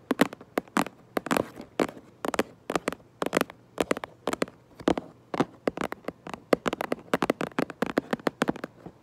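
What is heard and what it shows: Long nails tap rapidly on the back of a cardboard Minecraft Lego box, making dozens of short, dry, clicky taps in an uneven run. Each tap is a crisp broadband tick centered near 490 Hz with bright upper edges, dying away almost instantly over a faint steady low hum.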